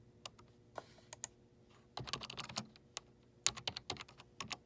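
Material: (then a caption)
Plastic. Fingertips with short nails press keys on the numeric keypad of a black plastic desktop keyboard with hollow keycaps, tapping out repeated key presses. Sharp, bright, clicky taps come first as scattered single presses, then in quick clustered bursts. Each click dies away almost instantly, with very little low-end thump.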